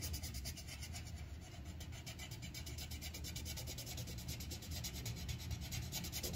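The tip of a yellow wooden colored pencil fills in a petal on a thin white paper coloring sheet resting on a clipboard, using rapid rubbing strokes. A steady, fast, scratchy rasp pulses in bright bands over a constant low rumble for the whole clip.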